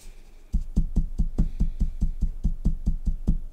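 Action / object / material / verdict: knock / knitted wool sock heel on a wooden sock board / wool / unpadded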